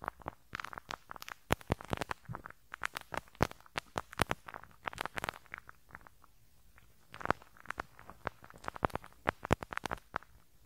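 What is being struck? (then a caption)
Metal mesh microphone grille brushed with a rubber-bristle brush. A pink rubber-bristle brush scratches across the small hollow metal mesh grille over the right capsule of a handheld stereo recorder. Dense, crackly popping and sharp bright clicks fire in rapid clusters, with a brief quieter lull near the middle before the scratching picks up again.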